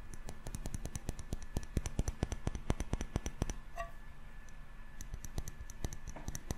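A small glass jar candle filled with solid yellow wax and fitted with a metal screw lid is tapped rapidly with fingertips and short nails on its glass body and lid. The result is a fast run of sharp, dry clicks with almost no ring, over a steady low hum. Around the four-second mark there is a brief pause marked by a faint higher-pitched tone.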